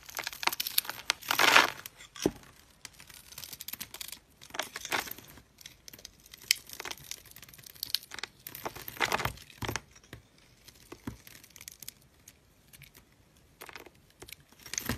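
A yellow utility knife's metal blade scrapes and shaves small cubes off a pale pink, solid, hand-sized bar of dry soap held in the hand, and the cubes crumble onto a pile of soap bits. The result is a string of dry, crisp, bright crunching and crackling bursts with a sharp, tearing texture and almost no low end. The bursts are short and irregular between quieter gaps.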